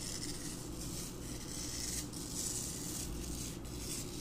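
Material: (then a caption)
Floral foam. A handheld wire bottle brush is brushed and rubbed across several small, solid, dry green floral foam blocks sitting side by side on a carpet. The result is a steady, continuous scratchy rasping with a bright hiss on top and a soft low rumble underneath, with slight swells as the strokes change.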